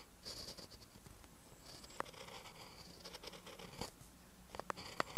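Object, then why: Ballpoint pen on lined paper. A ballpoint pen tip writes on a lined paper notebook page, making soft, dry scratching strokes with bright hiss. Several sharper little taps of the pen stand out near the middle and again toward the end.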